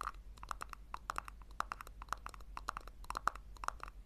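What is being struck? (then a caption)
Small plastic tub. Long nails rapidly tap and scratch the base and sides of a small, hollow pink plastic tub turned upside down. About two dozen quick, sharp clicks land in an uneven rhythm, each with a short hollow tone near 1.3 kHz that dies almost instantly, over a faint steady low hum.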